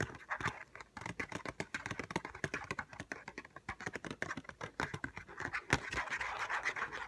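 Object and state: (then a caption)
Paperboard screen protector box. Fingernails tap and scratch a small, hollow ZAGG glass screen protector retail box made of paperboard, held in the hands. Rapid, dry clicks come in quick runs with a few slower taps, each dying away almost instantly. A steady papery scratching fills the gaps and swells toward the end.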